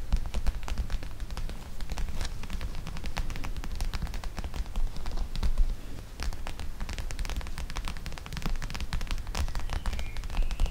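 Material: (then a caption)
Plastic, gel. Long nails scratch and tap on a flat, clear plastic pouch of teal gel beads lying on top of the microphone. The result is a steady, dense stream of crackly scratching and quick clicking taps over a heavy, muffled low rumble, with no pauses.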